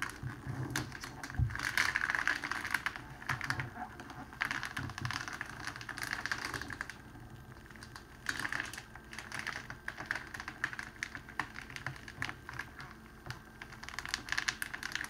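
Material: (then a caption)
Cellophane. A clear cellophane wrapping sheet, rolled into a long hollow tube, is held at both ends and pressed flat with the palm. It gives a dense, continuous run of sharp crinkles and crackles with a bright, papery hiss centered around 1.5 kHz. It swells in bursts and eases between presses for about fifteen seconds.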